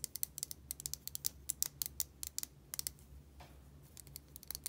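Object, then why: Small plastic lighter. Long nails tap and scratch the body of a small yellow plastic Bic lighter with a metal top, hollow with fuel inside. About 25 quick, bright clicks sound in uneven bursts, with a soft scratching stretch in the middle and a faint low hum underneath.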